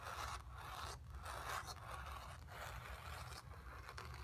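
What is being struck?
Stretched painted cotton canvas.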